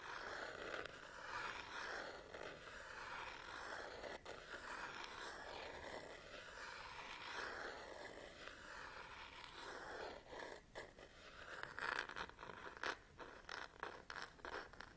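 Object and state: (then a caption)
Plastic and rubber camera body being scratched. Long nails scratch repeatedly across the plastic and rubber back panel of a black DSLR camera body held in one palm. A steady, raspy scraping sits mostly in the midrange, with a faint bright hiss above. Toward the end it breaks into sharper, louder scratches and clicks.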